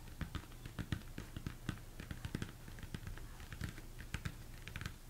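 Fingertips and nails tap quickly on the top and sides of a large, hollow, empty plastic mixing bowl turned upside down. The result is a steady patter of dull, low knocks mixed with bright, clicky nail ticks, each dying away almost at once over a faint low hum.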